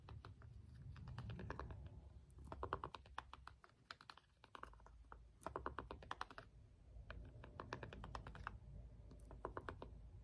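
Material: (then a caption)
Plastic. A small hollow plastic LED remote has its rubbery buttons pressed and tapped with the end of a small green jade stone roller. Quick, dry clicking taps come in rapid bursts with short pauses between them, over a low background rumble.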